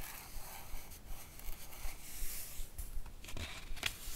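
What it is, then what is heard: Paper comic book page. Long acrylic nails and fingertips trace and scratch across the right-hand glossy printed page of an open hardcover comic book. The result is a quiet, continuous papery scraping and rustling with brief brighter scratch accents.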